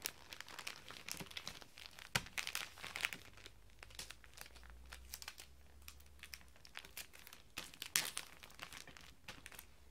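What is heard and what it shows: Fingertips tap and rub a flat, rectangular hardback book wrapped in shiny silver-and-black metallic Christmas wrapping paper, lying solid on a glass table. Quick, bright crinkles and crisp taps come in irregular bursts. The loudest snaps land around two and eight seconds, over a faint low hum.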